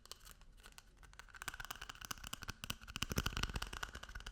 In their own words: 19:14 トイレペーパーロールタッピング